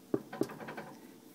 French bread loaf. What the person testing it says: that sound means it's done